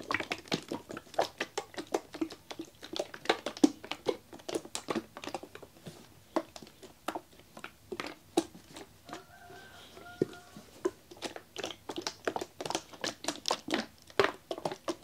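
A blue plastic Harpic toilet cleaner bottle with a red angled nozzle, hollow and holding liquid, is held in the hand and shaken. It produces a quick, steady run of short, dry sloshing knocks and crinkly plastic taps with almost no ring. A faint steady tone briefly sits under the shaking around the middle of the clip.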